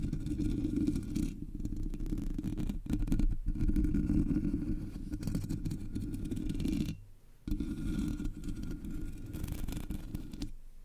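Long nails scratch across the top and sides of the black, hollow metal mesh grille on a Blue Yeti microphone. The result is a dense, continuous raspy scratching with a heavy low-pitched rumble and a bright, fizzy edge. It runs steadily throughout, briefly dropping out just before the 7-second mark.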